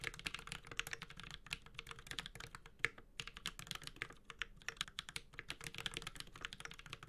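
A Space65 Cybervoyager 65% metal-case mechanical keyboard with Holy Panda switches and ABS plastic keycaps is typed on continuously with the fingertips of both hands. A steady, dense stream of short, bright clacks and taps is heard, each dying away almost instantly over a faint low thump.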